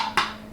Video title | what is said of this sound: MicroMoment: Tattlers, News, Your Questions | it sounds hollow and empty and thud e so this one is not sealed